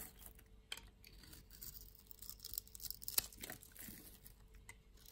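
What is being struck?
Bar of soap scraped with a knife blade.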